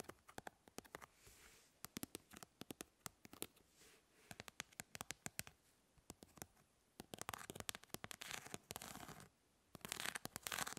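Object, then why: Plastic mesh fly swatter. Long nails scratch across the grid mesh of a hand-sized plastic fly swatter, making quiet, bright, dry ticks and clicks that die away almost instantly. Runs of separate sharp plucks alternate with denser bursts of rapid raspy scratching, especially toward the end.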